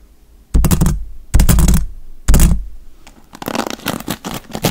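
Fingertips rake and scratch the dark bristles of a wooden paddle hairbrush. Three heavy, low, thumping strokes come first, each fading over a fraction of a second. They are followed by a quicker run of brighter, crackly scratching across the bristles.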